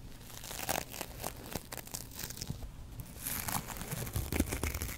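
A double-edge razor blade pinched between the fingers scratches across a yellow foam kitchen sponge with a green scouring layer. It makes a dense run of rough, crinkly, tearing scrapes with a low rumble underneath and bright hiss on top. The scratching grows busier and louder in the last two seconds.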